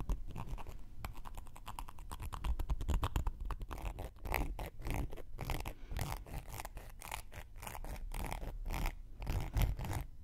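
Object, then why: Cork coaster scratched with a wooden needle. A round, flat, solid cork coaster held in one hand is scratched and poked with a thin wooden knitting needle. Rapid, dry scratching strokes and short taps run steadily throughout, with a low, muffled body and brief crackly bursts. The clip holds at a fairly even level with small swells, ending still mid-scratch.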